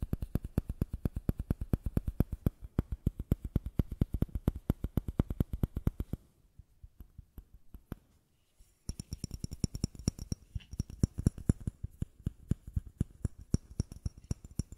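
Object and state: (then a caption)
Plastic bottle tapped. A small matte white bottle that looks plastic is held in the hands, and its body and base are tapped with the fingertips and nails in a fast, steady run of short, dull, low taps. The tapping stops for about two and a half seconds, leaving only faint soft sounds. It then resumes with the same quick rhythm, now with a brighter, high clicky edge.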